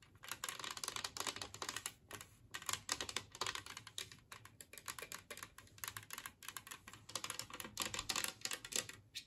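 Long nails tap and scratch across the glaze and rim edge of a large, flat, empty green glazed ceramic Christmas tree-shaped plate. Quick, dense runs of bright, dry clicks and scrapes follow one another with very short decay and little low end. Brief pauses separate the bursts.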